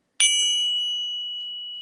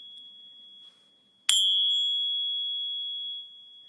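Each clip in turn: First: One bright tap rings out high near 3 kHz and sustains well over a second, as genuine silver should. Second: One tap gives a high ring near 3.3 kHz lasting about two seconds; a fake silver bar, likely brass.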